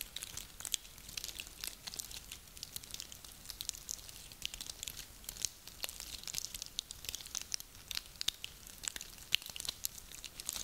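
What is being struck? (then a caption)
Small pine cones. A double handful of small, dry, lightly glittered pine cones with solid woody scales is lifted from the table and squeezed and rubbed between both hands with fingertips and nails. It makes a quiet, steady, crinkling, crunchy rustle. The sound is almost all high and bright, dotted with many sharp, dry clicks that die away instantly.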